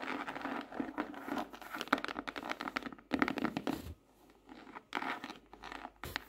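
Long nails tap and patter quickly on the front cover of a closed, dark, laminated hardcover notebook with a glossy tropical-leaf print, lying flat on a solid desk. The result is a rapid stream of dry, clicky taps with a faint crinkly texture, arriving in dense bursts separated by brief quieter pauses.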